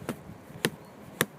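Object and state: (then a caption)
Solid dead log. A hand strikes the end of a big, thick, dried-out dead tree log three times, producing short, dull, quiet taps that barely ring. The log makes almost no sound because it is so massive that it would take a lot to make it thud.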